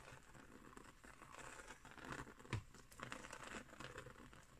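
Long nails scratch across the woven surface of a round, coiled, woven straw trivet, which is briefly lifted. The result is a quiet, dry, crinkly rustle of scratches and soft patter, with one sharper tap near the middle.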